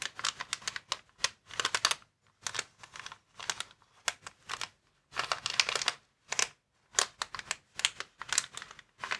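Fingertips and nails scratch and tap across a clear plastic air column cushion bag, inflatable packaging lying flat on a table. Quick bursts of bright, dry crinkling and crisp tapping come in uneven clusters separated by brief silences, with almost no low end and no ring after each stroke.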